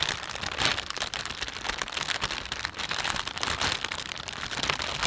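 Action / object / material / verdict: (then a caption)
scrape / thin plastic shopping bag / plastic / none. A thin, empty plastic panda shopping bag is stretched and rubbed between the thumbs, making its film crinkle. The sound is a steady, dense crackling concentrated in the bright, high range with almost no low end, and small sharp crackles pop through for the whole clip without a pause.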